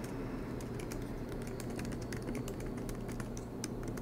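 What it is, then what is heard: Laptop keyboard being typed on. Fingertips of both hands type rapidly on the black plastic keycaps of an aluminium MacBook Pro laptop resting on a desk mat. A continuous stream of soft, crisp key taps with bright clicks rides over a steady low background hum.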